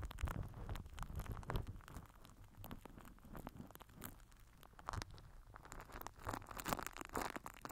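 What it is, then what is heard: Plastic wrap crinkled over a microphone. A microphone head wrapped in crinkled purple plastic film is scraped and rubbed with the end of a plastic glue stick. Dense, crunchy crinkling and rustling comes in close bursts over a heavy low-end rumble, swelling louder near the start and again toward the end.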